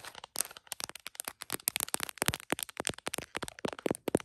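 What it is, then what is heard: Smartphone in plastic case, tapped. Fingertips and then long nails tap an iPhone in a printed plastic case, mounted on a tripod and seen in a mirror, striking the case and the lens area. The result is a rapid, uneven run of short, dry, crisp clicks with bright edges and no ring, some taps landing harder than others.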